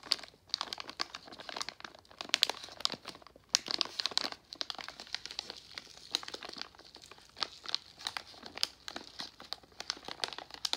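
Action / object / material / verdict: scrape / plastic foil candy pouch / plastic foil / none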